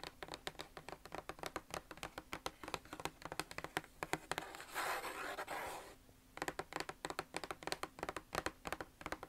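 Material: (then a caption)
Cardboard. Long nails tap quickly on the lid of a closed, hollow red Nike cardboard shoe box, making a rapid run of short, dry, papery clicks. Around the middle, the tapping gives way to a steady, bright scratching across the lid surface and edge, then after a brief quiet pause the quick tapping resumes.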